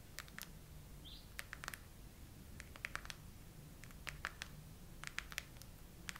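Long acrylic nails of both hands tap and scratch the raised hollow heart domes of a chrome plastic phone case. Sharp, short, bright clicks come in loose clusters with light scratching over a low, steady hum, and each tap dies away almost at once.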